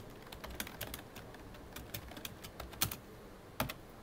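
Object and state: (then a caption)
Plastic computer keyboard typing. Fingertips of both hands type on a full-size black plastic computer keyboard with a hollow body, producing quiet, irregular key taps. Each tap is a short, bright click with a faint low thump, and a few louder, sharper strikes stand out near the end.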